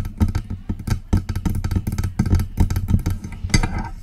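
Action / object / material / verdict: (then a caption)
tap / metal desktop microphone body / metal / none. Long press-on nails tap fast on the front of a silver metal USB desktop microphone with a hollow body. Each tap lands as a short, deep, boomy thump with a quick clicky edge, packed into a busy, continuous patter of about nineteen strikes that ring out almost at once.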